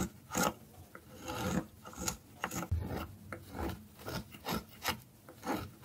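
A small, solid orange piece of dry soap is held in the hand and scraped repeatedly with a metal carving blade over a pile of shavings. About nine dry, raspy scraping strokes are heard, each a short burst of gritty broadband friction with a bright, hissy top and a soft low thud, separated by brief quiet pauses.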